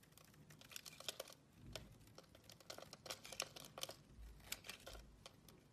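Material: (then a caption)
Soap. An oval, solid blue marbled bar of soap held in the palm is shaved into curls with a utility knife blade. The quiet, crisp, bright scraping comes as a rapid run of short, dry ticks and rasps with no ring, and a few faint low thumps sit underneath.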